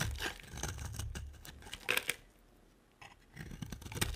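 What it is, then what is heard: Bar of soap being cut and scraped. A utility knife cuts and scrapes a solid white oval bar of soap, making dry, crisp scratching and shaving sounds with a few sharper bright clicks near the two-second mark. The carving pauses into near silence for about a second, then the gritty scraping picks up again toward the end.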